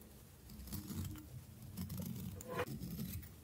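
A small solid stick of dry orange soap held in the hand is cut and shaved with a metal blade. Quiet, dry scraping and crumbly crackles come in short bursts, with brighter scrapes near the end, as chips of soap fall away.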